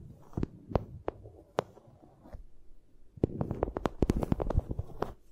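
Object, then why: Vinyl sheet. A vinyl sheet is tapped, giving short, dry, low-pitched taps with almost no ring. The taps are sparse and uneven for the first two seconds, then come quicker and denser in an irregular run to the end.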